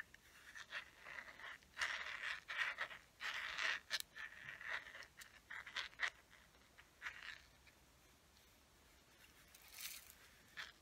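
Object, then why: Small plastic case. Long nails scratch and tap the flat side of a small hollow teal plastic case with a gold chain, held closed. Irregular bursts of dry scratching mix with short, sharp taps that carry a hollow, bright plastic tone, with quiet pauses between them.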